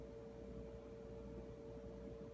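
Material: Nothing is struck.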